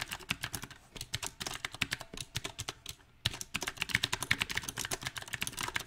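Fingertips type on a backlit compact mechanical keyboard with round, typewriter-style plastic keycaps on a silver metal frame. Quick, bright, clicky keystrokes come in an uneven rhythm, each ending sharply, with a brief pause near the middle before the typing picks up again.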